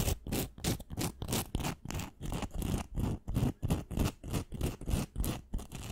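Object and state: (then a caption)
Glitter-coated wooden pencil. Long nails scratch and tap along a long, thin, pink, solid wooden pencil with a glittery coating. The result is a rapid, uneven run of short, gritty scratching strokes, about three per second, each with a dull low thump beneath a bright, hissy rasp.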